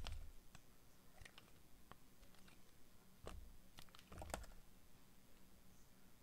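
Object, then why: Glycerin soap bar. A utility knife blade cuts thin, brittle slabs off a dry, translucent orange glycerin soap bar, a solid hand-sized rectangle held in one hand. The cutting makes short, sharp clicks and crisp snaps with bright edges and a soft low thump beneath. Each crack dies away almost instantly.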